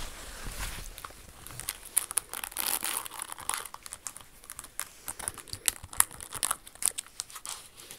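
Long acrylic nails tap and scratch the rhinestones on a single red Jimmy Choo high-heel pump with a red crystal bow and a metallic red insole. The result is a dense, bright, crinkly scraping broken by many quick, sharp clicks that stop dead with no ring.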